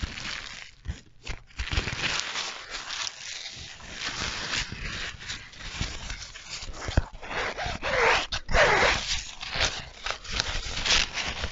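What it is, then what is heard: Nylon fabric sleeve, crinkled. An empty, soft black nylon tripod sleeve bag with a Rollei logo is scrunched and rubbed between the fingers. It makes a continuous dry crinkling and rustling with bright hiss-like texture, and louder bursts of crinkle swell near the end.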